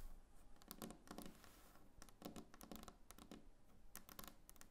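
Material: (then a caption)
Wood. Long painted nails of both hands tap rapidly across a large, solid, glossy varnished wooden tabletop. The result is a quiet, dense patter of dry, bright clicks with a soft low body around 190 Hz, each tap dying away almost instantly.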